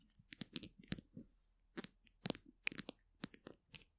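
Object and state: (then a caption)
Plastic glue stick tube, nail taps and scratches. Long nails of both hands tap and scratch the plastic barrel of a small capped polka-dot plastic glue stick, a hollow tube held horizontally. About fourteen quiet, crisp, bright clicks and scratchy crunches come in short clusters with brief pauses between them. Each one stops dead with no ring.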